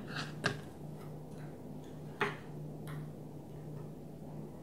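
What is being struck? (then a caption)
Thin plastic container lid. Long nails tap a flat blue plastic container lid lying on a table, thin and hollow underneath, with an empty container sitting untouched nearby. A few short, sharp clicks with a bright tone near 1.6 kHz stand out over a steady low hum, each dying away almost at once, with fainter taps in between.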